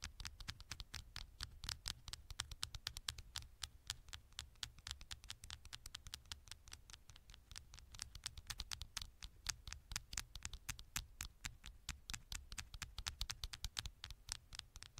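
Long nails tap and scratch rapidly on the gold metal back panel of a small, thin smartphone held in one hand. A dense stream of sharp, bright clicks and scratchy ticks runs steadily throughout, over a faint low rumble.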